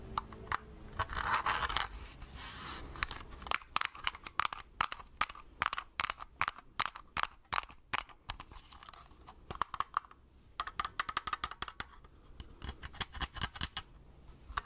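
A small hollow plastic Agfa pocket compact film camera, held in both hands, is scratched and tapped with long red-painted nails. A soft, bright scratching rasp opens the clip, followed by rapid runs of sharp, dry clicking taps with a hollow plastic tone around 1.2 kHz. Each tap dies away almost instantly.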